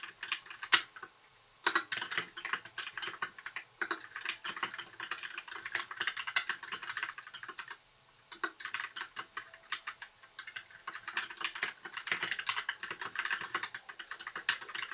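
Fingertips of both hands type continuously on a compact white mechanical keyboard with backlit plastic keycaps. The result is a rapid stream of bright, crisp plastic clicks with very short decay, broken by two brief pauses near the start and in the middle.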